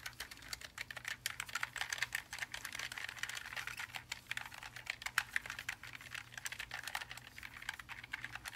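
Gloved hands type rapidly on the plastic keycaps of a backlit black low-profile Logitech G915 TKL linear mechanical keyboard, made of plastic and aluminium and lying flat. A dense stream of short, crisp clicks and clacks is heard, bright with a midrange emphasis, each stroke dying almost instantly.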